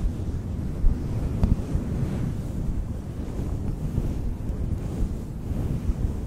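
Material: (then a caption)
Synthetic fur. Fingers brush and squeeze a fluffy synthetic faux fur windscreen directly on a microphone, producing a continuous low, muffled rumbling rustle with almost no high content. Brief thumps stand out here and there, resembling wind buffeting a mic.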